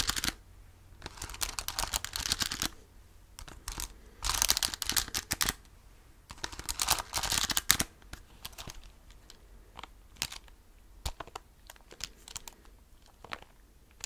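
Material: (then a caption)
Plastic. Fingertips tap and press the keys of a handheld black plastic graphing calculator with a screen and keypad. Bright, dry clicks come in dense rapid bursts early on, then thin out into scattered single taps with quiet gaps between them.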